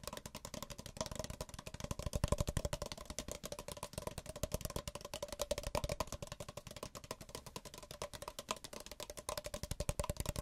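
Fingertips tap the sides and bottoms of two identical small, empty white paper cups held one in each hand. The result is a steady run of quick, hollow, dull taps that each die away almost instantly, with a faint hollow tone in the midrange.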